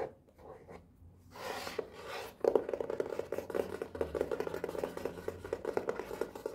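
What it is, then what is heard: Cardboard box. A hand-sized black and white printed cardboard box for a brush pen set, with pens inside, is held in one hand while the fingertips and nails of the other tap and scratch its front face. Soft scratching and rubbing comes first, then a quick run of dry, hollow mid-pitched taps mixed with scraping nails.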